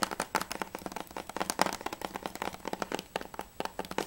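Fingernails and fingertips tap fast on the hard plastic back of a closed PS3 game case with a Spec Ops back cover, held upright. A rapid, uneven run of short, dry clicks and ticks follows, each one dying away almost at once. The taps have a mid-pitched plastic tone with little low end.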